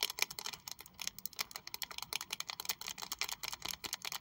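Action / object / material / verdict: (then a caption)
tap / small textured leather wallet tapped with long acrylic nails / leather / none. Long acrylic nails rapidly tap and scratch a small pink saffiano leather Prada wallet with a metal triangle logo, held close. The result is a quick, steady stream of crisp, dry, bright clicks and scratchy rasps with almost no low end and no ring after each hit.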